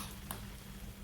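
A fried onion pakora, a gram-flour fritter, is broken by hand, giving a single short, crisp snap over a low, steady background hum. The pakora is crispy on the outside and nicely cooked inside.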